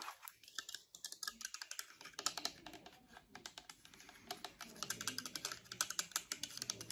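Long acrylic nails tap and click on purple and white plastic over-ear wireless headphones with hollow ear cups. About 45 quiet, quick, bright clicks come in an uneven, typing-like patter, each dying away almost at once. There is a lull around the middle before the tapping picks up again.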